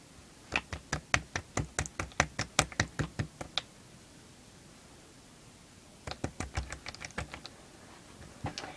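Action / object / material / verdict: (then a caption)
tap / slime / slime / solid. Slime that holds one shape like a solid is tapped 27 times in two bursts, giving short, sharp knocks with almost no ring. A run of about sixteen quick taps is followed by a pause, then about ten more and a faint last tap. This solid-like behaviour is unusual for slime.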